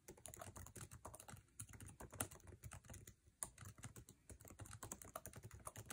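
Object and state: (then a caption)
Laptop keyboard being typed on. Fingertips rapidly type on a MacBook Air keyboard with plastic keycaps set in an aluminum chassis. The result is a fast, dense stream of short, dry key taps, each with a low thud and a bright click that die away almost instantly. A few sharper, louder strikes stand out, with brief lulls in between.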